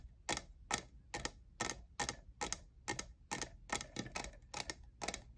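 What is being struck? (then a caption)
Plastic studded tumbler. Fingernails tap the faceted side of a tall, hollow lavender plastic jeweled tumbler that appears empty. Each tap is a short, bright, dry click with a quick decay, some coming as quick doubles. They come in a loose, uneven rhythm of about two to three taps per second.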